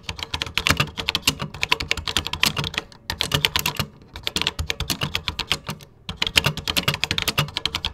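Fingertips type rapidly on a 1980s vintage computer keyboard with cream plastic keycaps, producing dense, bright, clacky key clicks with a light low thump beneath. The bursts of typing pause briefly around the third and sixth seconds before resuming, and each click dies away almost instantly.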